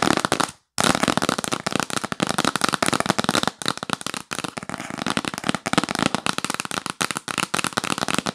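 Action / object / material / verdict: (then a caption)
tap / cardboard box lid / cardboard / none. Long nails tap and scratch quickly across the lid of a hollow yellow printed cardboard box held upright. The result is a dense, rapid run of dry, crackling clicks and scrapes with no ring, broken by a brief silence near the start.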